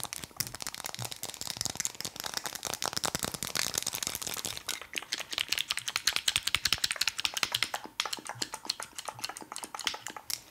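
Fast, aggressive tapping on a wooden object produces a dense, continuous stream of dry, bright clicks. The clicks have almost no low end and die away instantly between strikes.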